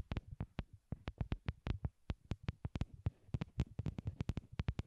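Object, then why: Small plastic wired earbuds. A pair of small white hollow plastic wired Apple earbuds, used as the microphones and resting on a cork board, is tapped with long glittery nails. About 27 quick, dry taps land in an uneven rhythm, each a soft, deep thump with a faint bright click and almost no ring. The result is a quiet, muffled, low patter.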